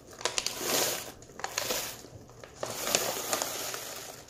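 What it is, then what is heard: Plastic bag of small candies. Fingertips pinch and crinkle the top edges of an open plastic M&M's Minis pouch full of small hard-shelled candies while the bag is gently jostled, rattling the candies inside. Bright, hissy crinkling rises and falls in three swells, scattered with short, sharp clicks from the shifting candies.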